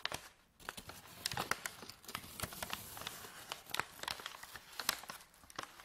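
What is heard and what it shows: Fingertips and nails crinkle and fold the top edge of a medium white paper bag, empty and hollow, standing on a table. A quiet run of crisp, bright crackles and dry rustling snaps follows, with little low end and no lingering ring.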